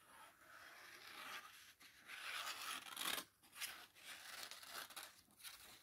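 Fingertips with long painted nails rub and turn the thin cream paper pages of an open paperback book held in both hands over a fuzzy blanket. Soft, bright, papery rustling and scratchy swishes rise and fall in waves, separated by brief quiet gaps. There is no low end.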